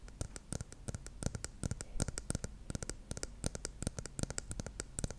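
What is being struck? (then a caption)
Plastic shampoo bottle with cap. Long nails tap and click on the silver cap and body of a dark plastic shampoo bottle. The result is a quick, irregular stream of short, dry clicks, each with a bright high edge over a soft low thud and no ring between taps.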